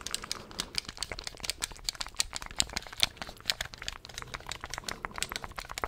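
Fingertips click the buttons and tap the shell of a handheld black plastic gamepad in a quick, uneven stream of dry, sharp clicks. The sound is bright and crisp, with almost no low end, and each tap stops instantly with no ring.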